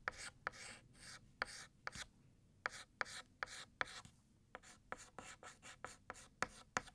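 White chalk scratches across a flat black chalkboard, thickening the letters of the word "Year." About sixteen short, dry strokes are heard, each starting with a sharp tap and trailing into a bright, gritty scrape, with brief pauses between them.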